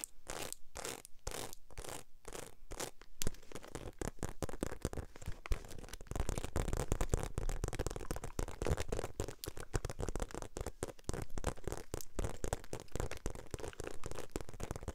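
Long acrylic nails scratch and tap the textured surface of a small, hollow, black glossy croc-embossed faux leather shoulder bag. The first few seconds are evenly spaced scratchy strokes. These give way to a rapid, dense run of dry taps and scratches with a low, hollow thump beneath them and very little ring.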